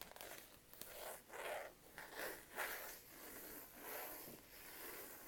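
Slow, uneven strokes of dry, hissy scratching rise and fade, with faint clicks where nails catch the edge. Nothing rings; the cloth-covered board deadens every touch, leaving only a breathy, fibrous rasp in a quiet small room.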